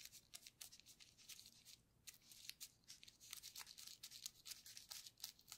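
A flat paintbrush is stroked and dabbed across a flat sheet of clear plastic bubble wrap with air-filled bubbles, lying on a table while a gloved hand holds the sheet. The result is a quiet, bright, scratchy brushing with many rapid, short crackling ticks and rustles and almost no low end.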